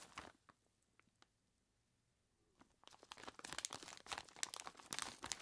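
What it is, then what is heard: Plastic bag full of ice cubes. Bare fingertips squeeze and crinkle a large clear plastic bag, tied at the top and full of ice cubes. A few soft crackles fade into a quiet pause, then dense, bright crinkling and crunching of plastic against ice build and continue to the end.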